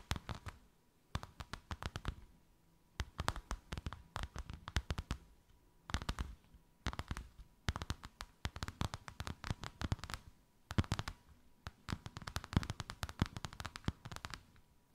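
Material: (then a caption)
Faux leather. Long white acrylic nails tap and scratch a thin white faux-leather sheet with a snakeskin emboss, draped over something rounded. Quick clusters of dry, low-heavy taps with crisp scratchy edges come in bursts separated by short pauses, each tap dying away almost instantly. A faint steady tone near 1 kHz hums underneath throughout.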